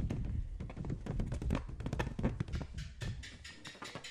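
A green latex balloon filled with liquid is tapped and scratched with the fingertips close to the microphone. It gives a rapid, uneven run of dull, low, thudding taps, with brighter scratchy rustles in the second half.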